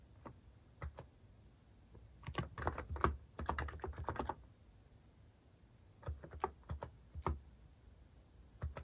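Fingertips type rapidly on a compact white-case Hanmumu mechanical keyboard with cream and orange cat-themed plastic keycaps, resting on a wooden desk. Quick bursts of short, dry, low-pitched key taps come in clusters, separated by brief quiet pauses. Each tap dies away almost at once.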